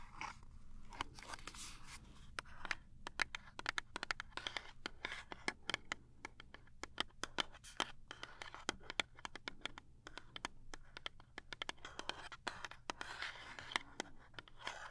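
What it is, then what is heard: Cardboard box tapped and scratched. Long nails tap and scratch the printed side of a small cardboard toothpaste box held flat. Quick, dry, bright clicks land in dense, uneven runs over soft scratchy rustling. Each tap dies almost instantly, and a faint low hum sits underneath throughout.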